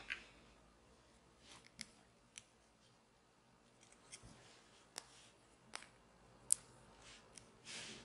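A small hollow plastic toy shaker bottle with an orange cap, held in both hands, is scratched and tapped with long nails. About ten sharp, bright clicks stand out over a quiet, high scratching rustle, ending with a short, breathy scrape.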